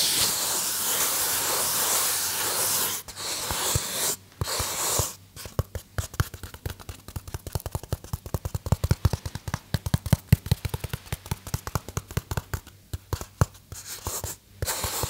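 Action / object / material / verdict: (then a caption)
scrape / polystyrene foam box / polystyrene foam / none. Fingernails quickly scratch the surface of a small white polystyrene foam box held in the hand. The first five seconds are a steady, bright, hissing rasp broken by two short pauses. After that comes a fast, irregular run of dozens of sharp, dry squeaky ticks with a deep low thump underneath, and a brief return of the hissy rasp near the end.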